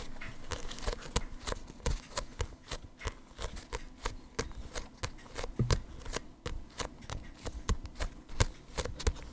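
A small paperback manga with a glossy paper cover is held in both hands close to the mic while fingertips grip it and flip and riffle through its paper pages. A quick, irregular series of short, crisp paper snaps and flicks sounds over a soft low rumble.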